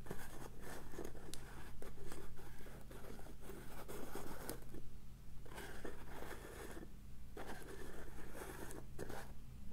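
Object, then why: Small plastic cosmetic powder jar. Long acrylic nails tap and scratch the blue plastic lid and clear plastic sides of a small round cosmetic jar of pink loose powder, making rapid clicks and dry scraping over a steady low hum. At the end the jar is held up close.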